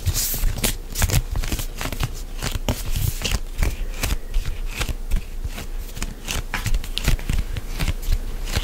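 A medium white plastic CeraVe moisturizing lotion pump bottle, hollow and apparently filled, is held close to the mic and gripped, squeezed and rubbed with fingertips and nails. It makes a steady stream of dense, crackly plastic creaks and rustles, with quick dull thumps at the low end and bright scratchy clicks on top.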